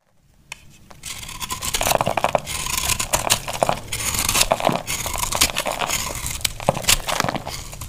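A small sharp knife slices and scrapes a solid bar of dry, crumbly green soap held in the hand, shaving off crunchy flakes. After a quiet start, a dense run of bright, crisp crunching and scraping builds within the first second or two and continues steadily to the end, with short sharp snaps scattered throughout.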